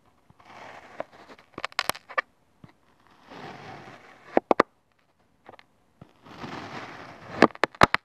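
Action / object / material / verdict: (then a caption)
scrape / kinetic sand mound cut with a plastic spatula / sand / none. A thin yellow plastic spatula slices repeatedly through a solid oval mound of beige-pink kinetic sand. Three stretches of soft, grainy hiss and crumble are each followed by a cluster of sharp, bright clicks and ticks.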